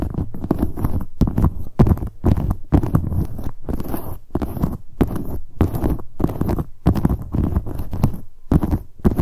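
Long acrylic nails tap rapidly on the front of a medium, hollow black leather handbag. The result is a dense, low, muffled patter of soft thuds in quick bursts separated by brief pauses, with a faint bright click on top.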